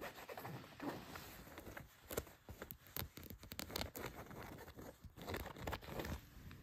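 Long white nails scratch across blue denim jeans laid flat, working over the leg and along the pocket seam. Quiet, rough scraping strokes come in quick uneven bursts, each a short dry rasp with bright, fabric-textured grit and a soft low rumble underneath, with no lingering ring.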